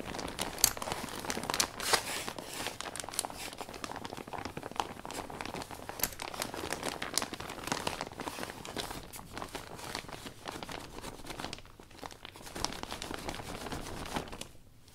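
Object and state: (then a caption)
Vinyl umbrella canopy being wiped. A hand rubs a cloth over the thin plastic of an open iridescent vinyl umbrella canopy from the inside. The result is a continuous bright, dense crinkling and rustling with many small crackles, easing off in a brief quieter gap near the end.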